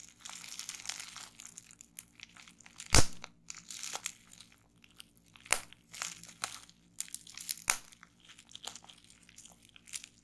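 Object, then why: Plastic bubble wrap. Fingertips and long nails pinch and crinkle a small bunched piece of clear, air-filled plastic bubble wrap on a wooden table, popping its bubbles. Soft, bright crinkling runs throughout, broken by sharp, snapping pops, the loudest near three seconds, with fainter ones later that die away almost instantly.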